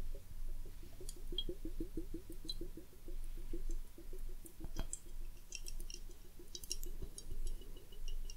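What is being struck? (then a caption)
Glass hourglass with liquid and bubbles. A large hollow glass bubble hourglass, partly filled with clear liquid and bubbles, is held in both hands and tilted or turned over while fingertips and long nails touch the glass. Soft, rapid clicking and tapping repeats throughout, with bright glassy clinks and a sharp tap near the middle. Liquid sloshes softly beneath the clinks.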